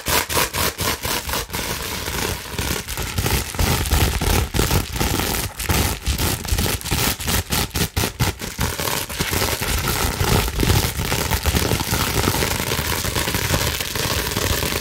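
Long nails scratch quickly over the air bubbles of a clear plastic bubble wrap sheet held upright. The result is a dense run of sharp, crackling scrapes and taps over a low rumble, busiest in the first half and then settling into a steadier rustling scratch.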